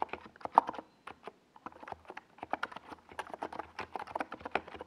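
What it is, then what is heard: Plastic mechanical keyboard with SA keycaps. Rapid fingertip typing on a compact 68-key NiZ Plum Atom 68 keyboard with a hollow white plastic case and purple and yellow Domikey Gas Attack SA plastic keycaps, resting on a desk pad. Quick, dry, clacky key taps run in dense bursts with a brief pause near the middle. Each tap is short and centered in the mids, with little ring.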